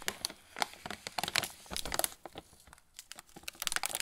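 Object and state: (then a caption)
Plastic snack bag crinkling. A sealed, full plastic film pretzel bag is held in both hands while fingertips rub and press its surface. It gives a steady run of bright, dry crinkling and crackling bursts with sharp, quickly fading snaps and little low end.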